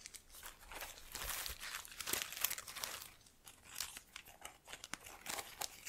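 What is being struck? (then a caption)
Artificial plant with plastic leaves. Long nails and fingertips rub and crinkle the plastic leaves of a small artificial trailing plant in a black pot, held in one hand. The result is a steady run of bright, crackly crinkling and rustling in quick, uneven bursts, with little low end.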